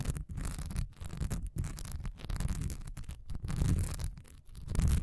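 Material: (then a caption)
Wax. Long nails scratch fast over a solid cream wax pillar candle standing upright, its honeycomb surface carrying a diamond texture. The result is a dense, rough, low-heavy rasping in uneven bursts, broken by brief pauses, with a few faint bright edges.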